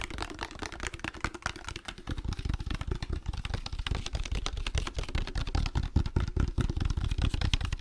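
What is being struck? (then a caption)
Glass spray bottle, partly filled. A hand-sized clear-amber glass spray bottle with a trigger nozzle, partly filled with liquid, is held in both hands and tapped rapidly with fingertips and nails, with some handling. A dense, uneven stream of sharp clicks and taps rides over a low, thumpy body, each hit dying away almost at once.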